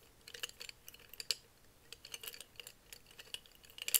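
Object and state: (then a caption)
Glass jar full of felt-tip markers. A hand-sized, hollow, clear glass mason jar full of plastic felt-tip markers is held and tilted in both hands and shaken, so the markers rattle against the glass while fingertips grip and tap the jar. The result is a quiet, uneven series of bright, sharp clicks and glassy ticks with almost no low end. Each hit dies away almost instantly, with a louder cluster at the end.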